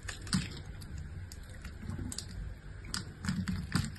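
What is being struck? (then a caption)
Bar soap carved with a blade. A utility-knife blade carves and scrapes chips off the surface of a solid, palm-sized pink bar of soap held in the hand. A steady, soft, low scraping runs throughout, broken by short, crisp, bright ticks as the blade bites in and chips break away.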